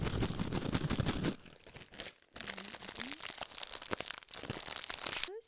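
A small, mostly empty silver metallized plastic snack bag is held in both hands near the microphone while fingers crumple and crinkle it. A dense, loud burst of crackling opens the clip, then settles into quieter, irregular crinkles and sharp crunches with a brief pause midway. A few short rising squeaky tones appear before the crinkling continues to the end.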